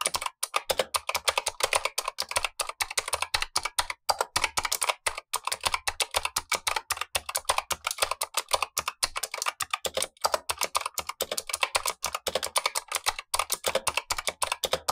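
Blue-gloved fingertips type steadily on a Razer Huntsman V2 mechanical keyboard with black plastic keycaps and clicky switches, the lower of two keyboards while the upper one stays untouched. A fast, continuous stream of sharp, bright clicks and clacks with very short decay fills the clip, with almost no low-end thump.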